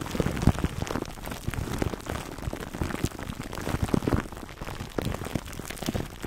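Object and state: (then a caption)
Plastic-wrapped foam microphone cover being scratched. Fingertips scratch and rub clear plastic wrap stretched over a black foam microphone windscreen, working from the side and the top. A dense, continuous crinkling and crackling, heavy in the low end, with many short sharp pops like rain pattering on a surface.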